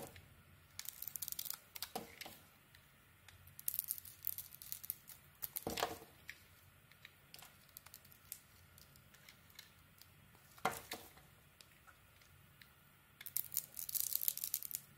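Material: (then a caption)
Soap. A metal blade shaves the outer layer off a solid dark green Lux soap bar with a white core, held in the hand. Quiet, crisp scraping comes in bright, hissy bursts, with a few sharp clicks as the blade bites and pulls away.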